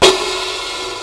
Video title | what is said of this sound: Summer's Here At Last 24.8.15 - 28.8 .15 | if we tap it it's it's this bit right here keeps rattling against it